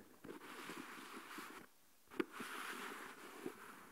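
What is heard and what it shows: A small translucent plastic deli tub with a lid, filled with coarse salt, is tapped on the lid with a fingertip and nail. A soft, grainy rustle of shifting salt runs throughout, breaking into near silence briefly just before two sharp, dry, mid-pitched taps stand out above it.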